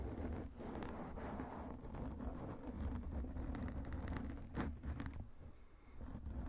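Fingertips of both hands hold and scratch a black foam microphone windscreen, rubbing over the foam. The result is a steady, low, rumbling rustle with a deep thump around 78 Hz and occasional brief crackling bursts that reach up into the highs, briefly dipping in level before picking back up.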